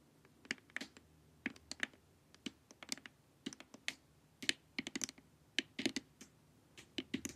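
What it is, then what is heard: Plastic LED face mask tapped with nails. Long nails tap quickly across the sides and forehead of a glossy, hollow plastic LED face mask. About 22 sharp, bright clicks sound in an uneven rhythm, each dying away almost instantly with little low end.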